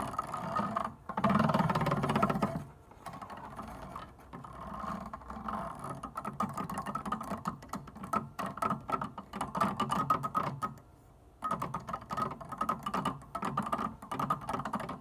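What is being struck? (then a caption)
Plastic organ keyboard keys. Long painted nails tap quickly on the surfaces of plastic white and black organ keys without playing any notes, producing rapid, uneven, typing-like clicks. The tapping is loudest early on, then continues more softly with a brief pause near the end.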